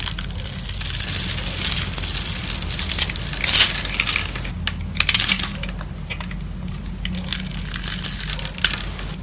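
A metal box-cutter blade scrapes and scores the surface of a beige, solid rectangular bar of soap held in a hand with long yellow nails, leaving flakes. The result is a steady, bright, crunchy scratching with dense crackles, swelling into a louder burst a little past the middle before settling back into softer rasping.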